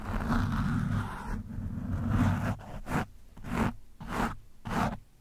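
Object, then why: Foam microphone windscreen. A screwdriver tip pokes and scratches an orange foam windscreen on a microphone, producing dense, low, rumbling scratching. A steady scrape runs for the first two and a half seconds, then breaks into a few separate swelling rubs with quiet gaps between them.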